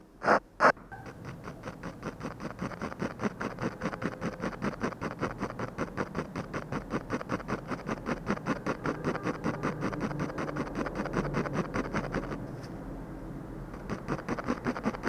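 A metal-tipped ballpoint pen scratches rapid, short hatching strokes across a flat sheet of textured drawing paper bearing a portrait. After two sharp taps at the start comes a steady stream of dry, papery scratches, which briefly turn into a softer, continuous rub before the quick strokes resume.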